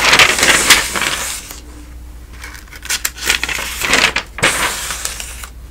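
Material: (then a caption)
Paper. A hand flips the thin newsprint pages of a thick paper telephone directory lying open, one page after another. Crisp, bright rustling swishes come in uneven bursts, with a quieter stretch of soft paper shuffling in the middle, over a faint steady low hum.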